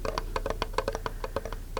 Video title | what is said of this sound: [ASMR] Fingertip Tapping to Find The Best-Sounding Item | if I tap on the bottom it's a little bit more Bassy